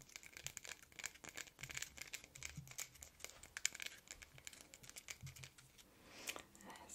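A small glass perfume bottle with purple liquid and a silver metal cap is held in the hand while long red nails tap and scratch its glass sides. The result is a rapid run of sharp, bright clicks and scraping sounds, mostly high-pitched with very little low end.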